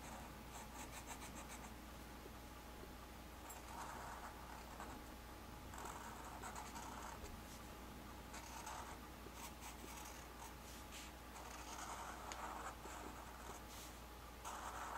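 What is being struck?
Felt-tip marker on a paper sheet.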